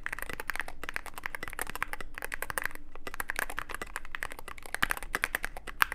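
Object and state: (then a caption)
Mechanical keyboard with plastic keycaps. Fingertips of both hands type continuously on a Cyberboard mechanical keyboard with plastic keycaps and a dark case. The result is a steady, rapid stream of crisp, bright clacks with no ring, centered on a mid-high tone near 1.6 kHz, with a few sharper, louder strikes toward the end.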